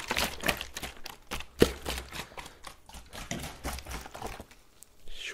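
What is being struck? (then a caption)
Plastic water bottle with water. A gloved hand shakes and tilts a clear plastic water bottle with a blue cap, partly filled with water, so the water sloshes in quick bursts, with one sharper thunk partway through. A steady low hum sits underneath, and the clip ends with a brighter swishing slosh.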